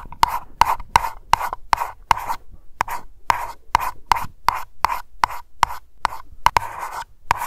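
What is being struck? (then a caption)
Small wax-filled glass candle jar. Long nails tap and scratch slowly on a small glass aroma candle jar labeled Lavender and filled with wax. Nineteen sharp, clicky taps ring briefly with a clear glassy tone near 930 Hz. Soft scratching fills the gaps between them.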